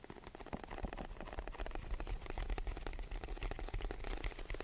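A hollow white rectangular cardboard box is tapped rapidly with the fingertips of both hands, held above and in front of the microphone. The quick, overlapping taps make soft, dull, hollow thuds that are mostly low in pitch with very little brightness, forming a steady drumming patter.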